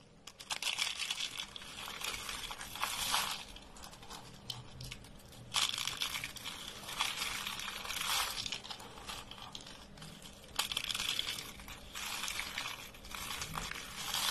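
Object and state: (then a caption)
Dry, brittle soap sheets being crushed. Bare fingers fold and crush thin, dry beige soap sheets and rolled coils into brittle flakes. Dense, bright crackling crunches come in repeated bursts with quieter crinkling in between. The soap breaks apart into flakes.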